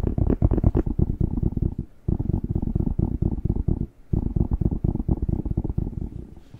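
Fingertips rapidly tap and rub the glossy skin of a whole, fresh, hollow, hand-sized red bell pepper held close to the microphone. The result is dense, low, hollow thumping with soft rubbing in three bursts, separated by brief pauses near two and four seconds. The sound fades slightly at the end.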